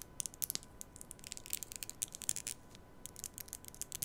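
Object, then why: Plastic comb. Long nails rub and strum along the teeth of a black plastic comb held vertically at the mic. The result is a quiet, uneven flurry of crisp, bright ticks and scratchy clicks, each dying away almost instantly. Underneath runs a faint steady hum.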